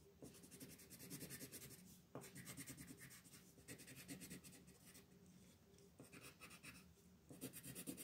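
A green colored pencil scratches and rubs back and forth across a flat paper coloring page while coloring in the background. Quiet, steady strokes make a dry, scratchy hiss with bright grainy texture. The strokes come in runs separated by brief pauses.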